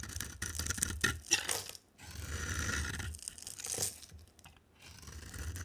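A box cutter blade held in the hand scrapes an oval bar of dry soap with a yellow outer layer and a pale green core, peeling off flakes. Bright, crisp scraping and tearing strokes crunch in uneven bursts, separated by short quiet pauses.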